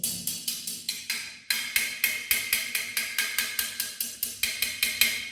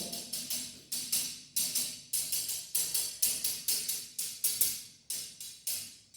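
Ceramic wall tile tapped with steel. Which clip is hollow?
The first.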